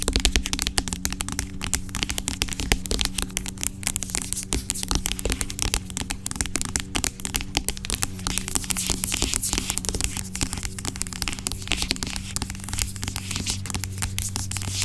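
Long acrylic nails tap and scratch the sides of a large, dark plastic pump bottle of aloe vera gel lying on its side, hollow and seemingly filled with gel. The result is a steady stream of quick, dry clicks and bright scratching textures over a constant low hum, with short, crisp taps that barely ring.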